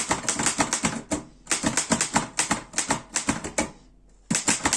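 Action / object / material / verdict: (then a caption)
tap / metal portable typewriter / metal / none. Fast fingertip typing on the keys of a black metal Erika 5 portable typewriter produces rapid runs of sharp, bright clacks that ring only briefly. Two short pauses break up the bursts, the second one longer before the typing resumes.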